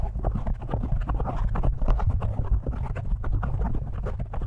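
A large black foam windscreen, soft and porous over the hollow metal head of a studio microphone, is scratched and tapped with the fingertips and short nails of both hands. The result is a steady, close stream of deep, muffled thumps and rustling scratches, heavy in low rumble with almost no bright content.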